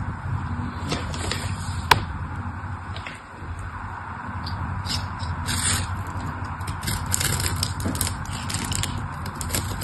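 A small metal blade scores a grid into the surface of a solid, dry, pink rectangular bar soap held in the fingers, cutting tiny soap cubes. Soft, crisp scraping and crackly ticks run throughout over a low steady rumble, with one sharp click near the start and bright bursts of scraping toward the end.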